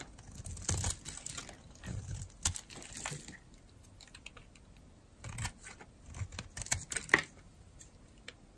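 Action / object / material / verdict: scrape / bar of soap carved with a metal blade / soap / none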